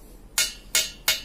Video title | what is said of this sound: Review Knalpot Terbaik Ninja RR 150, Knalpot Ori Bobokan | yang udah di bobok nih suaranya nyaring